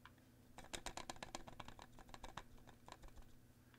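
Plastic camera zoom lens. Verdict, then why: Loose. A Panasonic Lumix 14-42mm plastic kit lens is shaken close to a microphone, giving rapid, irregular bursts of small, dry clicking rattles. The loose rattle marks the lens as flimsily built, weaker in build than the 12-60mm lens.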